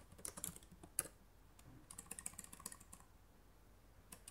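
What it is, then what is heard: Plastic laptop keyboard being typed on. Fingertips with painted nails type quickly on the plastic keys of a black laptop keyboard resting on a wooden table. Rapid, short, bright clicks come in bursts, with a sharp louder tap near the start. The typing then fades into a quiet pause before one last light keystroke at the end.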